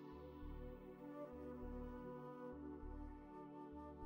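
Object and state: Nothing is struck.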